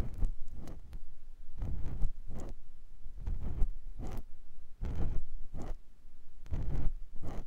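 A clear silicone ear pick gently scratches the ear canal of a white silicone ear on a binaural microphone block. Soft, scratchy rustling strokes come in short irregular bursts with a deep, muffled low end and faint bright edges, separated by brief quiet gaps.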